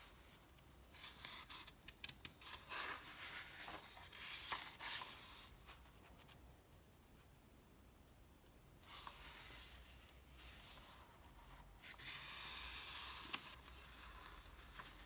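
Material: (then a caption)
Paper. Fingertips rub across the thin newsprint-like pages of an open softcover paper comic book lying flat on a dark table and turn them. Bursts of dry, bright rustling and scraping come in uneven flurries, with a quieter stretch of soft hiss around the middle and a longer sustained brush of paper near the end.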